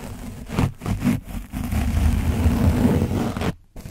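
A foam microphone windscreen coated in dried orange paint is scraped and dabbed with the flat and edge of a black foam sponge brush. The result is a dense, low, muffled scratching and rustling with uneven bursts, heaviest in the low range. It cuts to near silence briefly before resuming.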